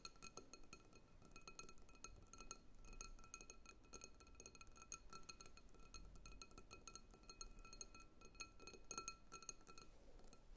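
Long nails tap steadily on the outer walls of a medium clear glass bowl full of water-gel beads. The result is a rapid, continuous stream of quick, bright glassy clinks, each ringing briefly with a clear tone near 1.3 kHz and higher overtones over a soft low rumble.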